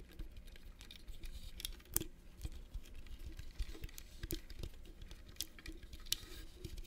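A small, hollow, rigid metal mosaic clutch purse with brass studs and red inlays is held close and tapped with fingernails. The result is a patter of quick, dry clicks with bright, sharp edges over a low, soft rumble. Each tap dies away almost instantly.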